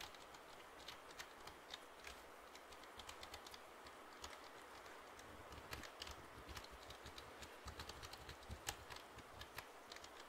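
A black plastic computer keyboard is held upright in one hand while fingertips tap its keys. Quick, light clicks with bright edges sound in an irregular patter over a steady soft hiss, each tap dying away almost at once.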